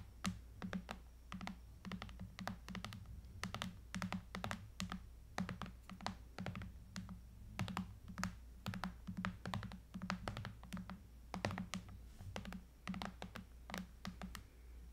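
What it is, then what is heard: Aluminium and glass tablet. Long pink-painted nails tap and scratch along the aluminum frame edges and glass screen of a thin silver Apple iPad lying flat on a dark surface. Rapid, irregular clicks with bright, sharp attacks die away almost instantly, mixed with soft scratching over a steady low hum throughout.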